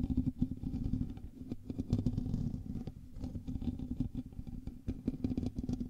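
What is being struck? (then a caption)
Metal mesh microphone grille. Fingertips and nails from both hands scratch the hollow metal mesh grille of a black USB microphone. A dense, continuous scratching and rubbing comes through as a heavy low-pitched rumble with a steady hum near 105 Hz and quick clicks that rise and fall throughout, with almost nothing in the high end.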